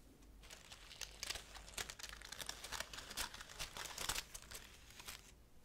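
Long-nailed fingertips stroke and crinkle the leaves of a green laurel leaf wreath close to the mic. A quiet run of dry, bright crackling and rustling bursts rises and falls throughout, with short, sharper crinkles standing out.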